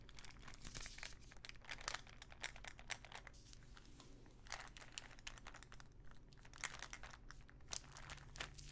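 Long nails tap and scratch a small clear plastic ibuprofen bottle full of pills, making a dense stream of crisp, crinkly clicks and scrapes with brief brighter taps standing out. A steady low hum runs underneath throughout.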